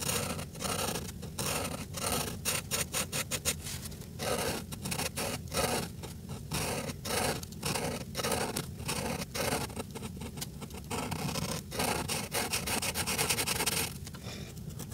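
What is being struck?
Felt-tip marker on a paper coloring page.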